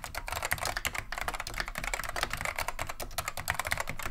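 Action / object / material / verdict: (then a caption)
tap / vintage plastic mechanical keyboard / plastic / none. Steady two-handed fingertip typing on a beige plastic vintage Wang 725 mechanical keyboard with Alps SKCM Neon Green/Lime switches. A fast, continuous stream of short, bright clacks rides over a soft low thump from the keys bottoming out. Each keystroke dies away almost instantly.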